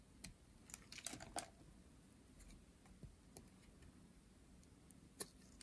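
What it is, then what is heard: Dry soap bar being shaved. A hand-sized pink dry soap bar, held in hands with long painted nails, is shaved into flakes with a metal blade. Quiet, crisp scraping ticks and bright flaking crackles come in scattered bursts, busiest near the start. A faint low hum sits underneath throughout.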